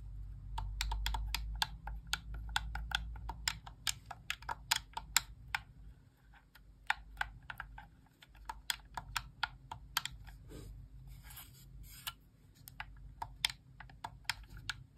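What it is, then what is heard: Plastic game controller. Long painted nails press and click the thumbsticks and buttons of a white, hollow-shelled plastic Xbox controller held in both hands. The result is a steady stream of short, sharp, bright plastic clicks with almost no ring, heard over a faint low hum and rumble.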